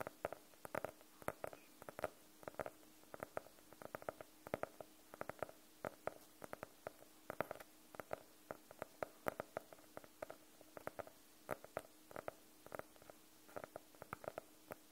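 Fingernails of both hands tap rapidly on the cover of a closed, solid navy faux-leather hardcover notebook. The result is a steady patter of short, dry clicks with a muted mid-range tone around 600 Hz, over a faint steady hum.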